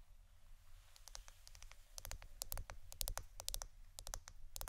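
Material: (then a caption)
Plastic. Long blue-painted nails tap and scratch a hand-size roll of clear plastic packing tape with a hollow center. Quick, dry, bright clicks come in irregular bursts that grow denser and louder toward the end, with faint scratching between them. A steady low hum sits underneath throughout.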